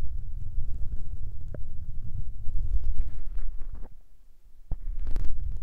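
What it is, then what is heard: Foam mic windscreens rubbed and tapped. Fingertips and nails rub and tap the small grey foam windscreens covering a Tascam recorder's mic capsules. The result is a dense, muffled rumble of deep, boomy thumps and soft scratchy brushing, with a few sharper taps standing out. The sound dips quieter for a moment near the end before building back up.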